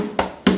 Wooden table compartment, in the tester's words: You'd think this would be added storage, because it sounds hollow